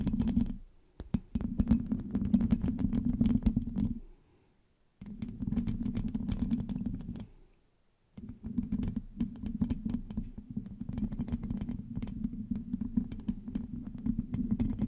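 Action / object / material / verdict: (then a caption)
scrape / metal mesh microphone grille scratched and tapped with long fingernails / metal mesh / none. Long acrylic nails on both hands scratch and tap the hollow black metal mesh grille of a large USB microphone. The result is dense, rapid scratching and clicking over a boomy low resonance, in three bursts separated by two short silences.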